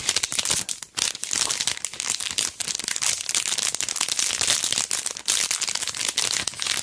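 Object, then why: Thin plastic sleeve holding a sticker strip. A long, narrow strip of pearl and gem stickers on a backing card inside a thin, flat, clear plastic sleeve is held in both hands, bent and crinkled while long dark nails scratch the plastic. The result is a steady, bright, dry crinkling made of dense small crackles and scratchy rustles with almost no low end, broken by a few brief dips.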